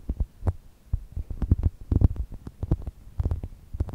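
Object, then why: Polyurethane foam squishy toy. A small, soft, solid brown polyurethane foam chocolate toast squishy, shaped like toast, rests between two microphones while long nails and fingertips squeeze and scratch it. The result is a steady run of dull, muffled low thumps and rubbing sounds, with brief bright nail clicks cutting through now and then.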